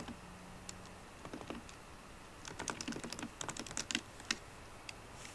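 Fingertips and painted nails of both hands tap the black plastic keys of a solid 13-inch silver aluminium MacBook Pro. Quiet, irregular bursts of short, crisp, bright clicks come in quick clusters with brief pauses, over a faint low hum at the start.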